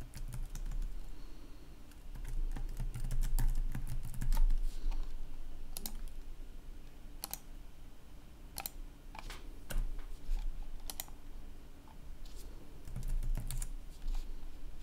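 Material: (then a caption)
Plastic. Fingertips rapidly type on a black plastic gaming laptop keyboard with red backlit keys, resting on a wooden desk. Quick, irregular clicks and taps come in bursts over a steady low hum.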